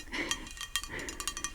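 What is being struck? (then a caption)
Painted ceramic plate. A hand-painted St. Jean de Bretagne decorative ceramic plate is tapped in a quick series of light, bright clinks. Each short ceramic tick rings high, around 3 kHz, and dies away almost at once, with a soft hiss between the taps.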